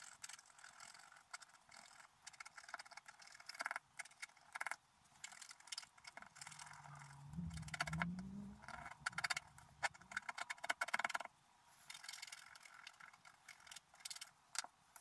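A wooden stylus scratches the coating at the upper right of a flat black-coated scratch art sheet resting on a table. It makes a steady run of dry, bright scratching strokes in quick irregular bursts. A low rising hum sits underneath in the middle of the clip.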